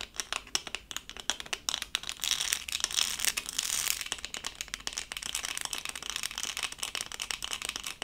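A small, flat, thin LOL-doll-shaped diamond-painting sticker covered in tiny faceted resin rhinestones on a plastic backing is held in both hands and scratched and tapped with long acrylic nails. Dense, quick, dry clicks and gritty scratching rattles sound bright and high with almost no low end. The texture swells into brief denser bursts of scratching between runs of sharp taps.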